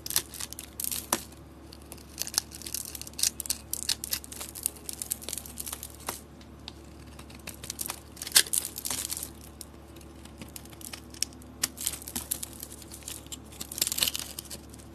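A utility knife blade scrapes and carves a solid, palm-sized bar of soap with a green dotted design and an orange layer. Bursts of bright, crisp, crackly scraping and crumbling come and go over a faint low hum. The bar is cut down into crumbly shavings.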